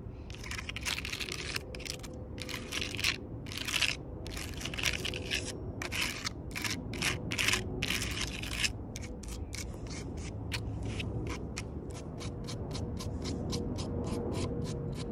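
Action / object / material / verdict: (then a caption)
scrape / rough bark on a wooden log / bark / none. Long purple nails tap and scratch across the rough, cracked bark of a solid log, including its cut end. This makes a rapid run of dry, crackly, crunching bursts with a bright edge over a steady low rumble. A faint tone underneath may be quiet music.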